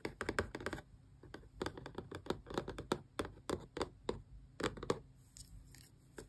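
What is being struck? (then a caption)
Small closed cardboard box. Long press-on nails tap the front face of a small, closed, hollow cardboard Xbox controller box in quick, irregular bursts. The taps are dry, clicky knocks with a hollow midrange body and almost no ring, separated by brief quiet pauses.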